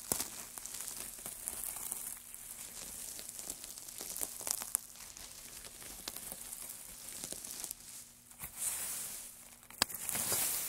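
A heap of thin, dry wood shavings is pressed, crumpled and rubbed by white-gloved hands. The result is a bright, dense crackling and rustling, with many sharp little snaps over a soft, hissy bed.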